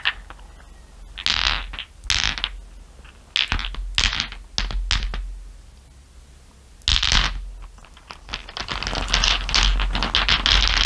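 Long nails tap and rub across a bed of small solid glass marbles. Bright, irregular bursts of clicking and rattling rise and fall, with brief quieter gaps between them and a low, steady hum underneath.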